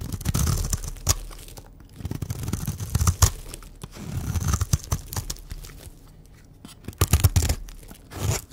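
A utility knife blade scrapes and cuts a pink oval Dove bar of dry solid soap held in hand, shaving it into crumbly flakes. Waves of dry, crunchy scraping and tearing rise and fall, punctuated by sharp cracking snaps as pieces break away, with a heavy low body under a brighter crisp edge.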